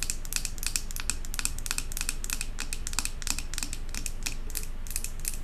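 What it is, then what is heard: Glass jar candle tapped with long nails. Long acrylic nails tap rapidly on the glass side of a large glass jar candle filled with solid white wax and topped with a silver metal lid. The taps form a quick, uneven stream of short, bright clicks with almost no ring, over a steady low background hum.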